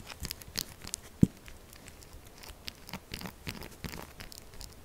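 Long glittery acrylic nails quickly scratch and tap the faces of a solid rectangular bar of pink-purple textured soap resting on a dark mat, its scraped surface shedding flakes. A fast stream of dry, crackly scrapes and light ticking taps with short, bright edges and no ring continues throughout, with one sharper, heavier knock standing out near the start.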